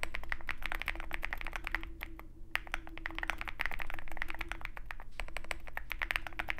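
A compact 65% Zoom65 mechanical keyboard with a dark metal case and white and black plastic keycaps is typed on rapidly with the fingertips of both hands. The result is a fast, uneven stream of short, dry clicky taps with a bright clack. A steady low hum sits underneath, with a brief lull in the typing around the two-second mark.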